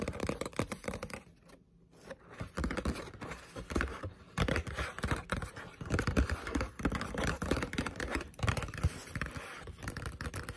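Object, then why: Paperback manga book, paper. Long pointed nails tap fast on the back cover of a green Zelda paperback manga lying flat, a solid paper book. The result is a dense, dull, low-heavy patter of short clicks with a brief pause near the two-second mark.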